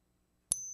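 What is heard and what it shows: A 1964 American silver quarter is given a ping test, producing a single sharp, bright strike followed by a clear, sustained high ring. The bell-like tone marks it as authentic silver.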